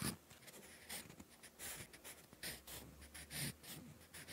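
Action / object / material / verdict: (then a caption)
scrape / graphite pencil on a paper notebook page / paper / none. A wooden graphite pencil tip scratches across a lined, textured cream paper notebook page while writing. The result is soft, close, papery scratching in short, bright bursts over a quiet low hum.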